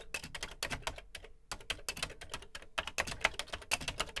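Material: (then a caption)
Plastic. Fingertips type on the dark plastic keys of a Commodore VC 20 home computer with a beige plastic case. A quick run of bright, dry plastic clicks and clacks is heard, with a brief pause near the middle, each keystroke dying away almost instantly.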